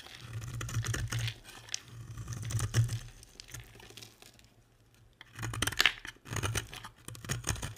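A box-cutter blade scrapes crumbly shavings off a solid, dry, hand-sized blue and white striped bar of soap held in the hand. Dry, crackly scraping comes in bursts with a steady low hum underneath. It goes quiet for about a second midway, then resumes with brighter, sharper scrapes.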